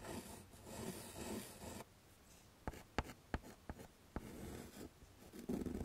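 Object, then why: Chalk on a wood-framed chalkboard. A hand draws a smiley face and dots with yellow chalk on a flat dark chalkboard in a wooden frame. Rough, scratchy strokes fill the opening, then a quiet stretch is broken by a series of sharp, short chalk taps for the dots. Scratching strokes return at the end.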